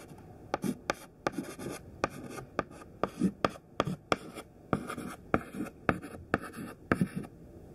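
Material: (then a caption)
Chalk. A thin stick of white classroom chalk, held in the fingertips, writes words on a large flat black chalkboard. About fifteen short, sharp taps and scratches are heard, separated by softer, gritty rubbing strokes.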